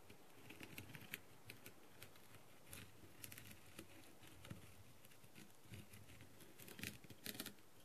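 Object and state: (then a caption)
Rhinestone-covered plastic mask. A clear plastic tool tip taps and pecks across the rhinestones of a blue plastic rhinestone-covered masquerade mask. It makes 18 quiet, sharp, bright clicks with very short decay, spread irregularly over a soft, low background hiss.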